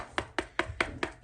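Five quick, dry taps on a metal paint can that has not been stirred, with coagulated paint settled at the bottom. Each tap is a short, dull knock centered around 355 Hz that dies away almost at once, sounding different from the can after thorough stirring.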